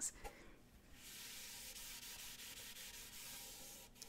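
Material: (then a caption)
Wood. Fingertips and nails rub and scratch the painted body of a small hollow wooden lute-style ukulele held by the neck. A couple of faint taps open the clip, followed by a steady, bright, hissing scratch that runs for about three seconds before fading briefly near the end.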